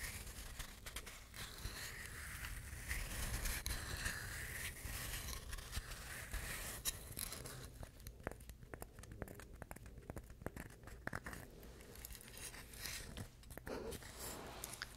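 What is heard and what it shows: A hollow, dry, hand-sized coconut shell half is held close to the microphone and scratched with the fingernails. The result is a dense, irregular run of dry, bright scratching and crackling strokes over a steady low rumble, quieter and more broken up in the second half.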